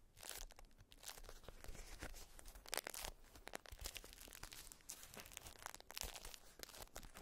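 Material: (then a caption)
Waxed cotton. A folded, patterned beeswax wrap of wax-coated cotton is held in both hands and squeezed and crinkled with fingers and nails. Dense, dry crackling and crinkling bursts with bright, high content come in quick irregular clusters, with a soft low rumble underneath.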